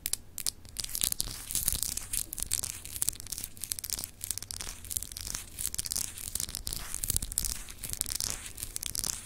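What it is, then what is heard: Glass globe paperweight scratched with nails. Long acrylic nails scratch across the textured surface of a palm-sized solid clear glass globe paperweight with frosted continents. A steady stream of dry, bright, rasping scrapes flickers in rapid bursts over a faint low hum, with no ringing after each stroke.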